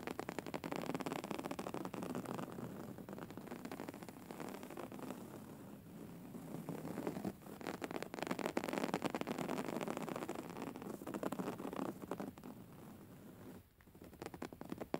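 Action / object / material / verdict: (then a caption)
scrape / filled pillow with a coarse woven fabric cover / woven fabric / none. Long nails of both hands scratch quickly over the coarse woven textile cover of a soft, filled grey pillow. The result is a dense, continuous crackling scratch, mostly in the low-mids with little bright hiss. It briefly quiets around the seven- and fourteen-second marks before picking up again.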